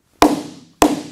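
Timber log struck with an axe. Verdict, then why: Hollow. An axe strikes an old-growth timber log twice, each blow giving a short, woody knock with a low ringing tone that fades quickly. The spot sounds hollow, pointing to shake cracks inside the log.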